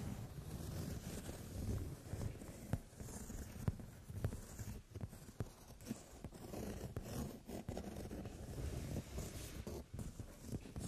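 Fingertips and long nails scratch and rub across a brown leather padded sofa seat. The result is a steady, soft, low-heavy rustling and scraping, broken by about ten brief sharp ticks and clicks.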